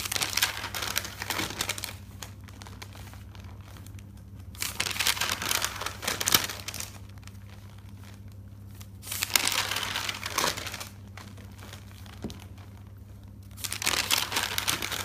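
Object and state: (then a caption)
Thick paper notebook, pages flipped. Fingertips flip through the pages of a thick paper notebook, a bound stack of white paper, one page at a time. Each turn gives a bright, crinkly paper rustle in short bursts, separated by quiet pauses over a faint, steady low hum.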